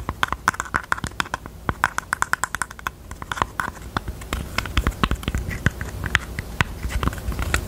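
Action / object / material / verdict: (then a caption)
tap / small velvet-covered heart-shaped jewelry box / flocked fabric / none. Long teal nails tap and scratch the lid of a small, hollow, hot-pink heart-shaped jewelry box covered in velvet/flocked fabric, with a paper label on the lid. Quick, dry taps with almost no ring give soft low thumps and a hollow midrange knock. They start as distinct separate taps, then blur into a denser stretch of rapid tapping and scratchy rustling.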